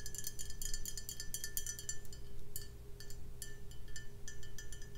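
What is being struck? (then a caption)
Glass beer bottle. Long nails tap rapidly on the body of a full brown glass beer bottle with a paper label and a foil-wrapped neck. The result is a flurry of quick, bright, clinking glass ticks with a short ring, over a steady low hum.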